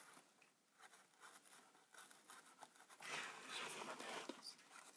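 A thin pen-like tool tip is tapped and scratched on the silver front panel near the lens window of a Polaroid Supercolor instant camera with a hollow plastic body. Quiet, light, dry ticks and brief scrapes come first, then after about three seconds they give way to a louder, steadier, bright scratching that dies away quickly with no ring.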